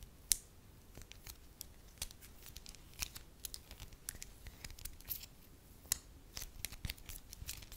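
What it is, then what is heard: Soft wax sheet. A beige lump of soft wax, stretched into a thin, solid, hand-sized sheet, is crinkled and scratched with long acrylic nails. The result is a quiet, irregular series of short, bright crackles and ticks over a faint low rustle, with one sharper snap near the start.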